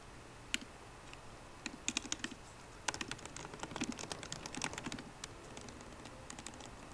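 Both hands type continuously with fingertips and long painted nails on a MacBook Pro keyboard, with plastic keycaps set in a hollow aluminium laptop body. The result is a stream of short, bright, crisp clicks that start sparse, cluster densely in the middle, and thin out again over a faint steady hiss.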